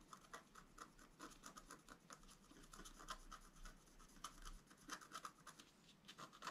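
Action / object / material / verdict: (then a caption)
scrape / black-coated scratch art paper scratched with a wooden stylus / coated paper / none. A wooden stylus scratches lines into a flat black-coated scratch art paper sheet on a table, working on the flower above a deer head while a hand holds the sheet in place. Many short, dry scratching strokes follow in quick succession, each a brief bright rasp centered around 1 kHz with no ring. The strokes vary in loudness over a faint steady background.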